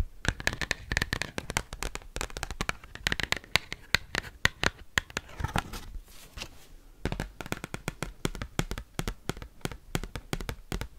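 An oversized, thin, flexible cardboard Pokemon card with a glossy holo front is tapped and scratched rapidly with paperclips worn on the nails. The result is a dense stream of sharp, dry clicks and crisp scratching, with bright edges, brief bursts of faster scraping, and no lingering ring.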